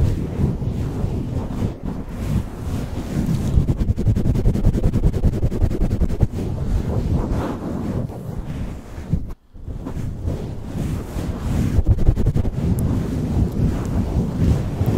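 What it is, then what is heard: Foam microphone windscreen being rubbed. Long acrylic nails and fingertips rub and swirl a black foam windscreen over the head of a white USB studio microphone, with the foam partly pulled off. The result is a dense, muffled, low rumbling scrape with rapid brushing strokes. It is broken only by a brief near-silent gap about two-thirds of the way through.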